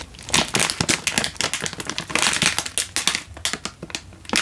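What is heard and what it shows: A single full Indomie instant noodle packet in a crinkly plastic wrapper is held in one hand and squeezed and crinkled with the fingers. The result is a rapid, continuous stream of sharp, bright crackles and crinkles with very little low end, each burst dying away almost instantly.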